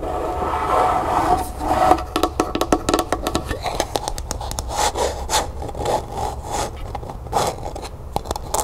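Long nails scratch and tap the sides and base of a small, hollow, empty, matte pink plastic cup held in the hand. A scratchy rubbing with a faint mid-pitched ring opens the clip, then gives way to fast, dry tapping: quick, sharp clicks with bright edges that die away almost at once over a low background rumble.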